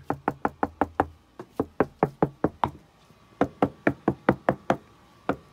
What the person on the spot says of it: Listen as I rap on some of this wood so you can hear how solid the stuff is.